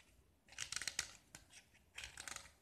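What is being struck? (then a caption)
Gypsum plaster block. A utility knife blade scrapes and carves the surface of a small, solid, hand-held gypsum plaster block painted with red diagonal stripes on white. Two bursts of quick, gritty, crunchy scraping are heard, with a sharp click between them. The sound is bright and dry, concentrated in the high range, with almost no low end and no ring.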